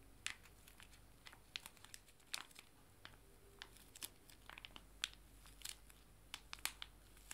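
Two small, joined, full foil-laminated wet wipe sachets, held in both hands, are bent and crinkled with the fingers. The result is quiet, irregular bursts of sharp, bright crinkling and crackling that stop quickly over a faint low hum.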